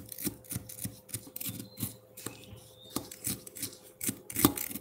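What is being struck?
Frozen milk ice block and metal fork.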